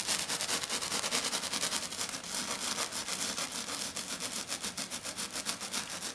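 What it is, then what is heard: Glitter sheet scratched. Fingernails drag in long scratches across a flat silver glitter sheet lying on a table. The result is a fast, steady run of rough, bright scratching strokes with very little low end.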